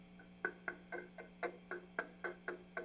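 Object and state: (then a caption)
Microphonic vacuum tube. A pencil taps the glass vacuum tubes inside an Egnater Rebel 30 MKII guitar amplifier, heard through the amp as ten sharp, short tinks with a clear ringing pitch over a steady low hum. The ringing marks one tube as definitely bad, meaning it is microphonic.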